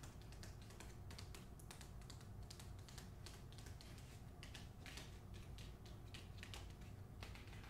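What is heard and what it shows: Long acrylic nails tap and scratch the front cover of a medium hardcover novel, "The Hacienda," held upright in its glossy paper dust jacket. Quick, bright, dry clicks and scrapes follow one another in a steady stream over a constant low hum, all at a soft, even level.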